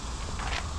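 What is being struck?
Nothing is struck.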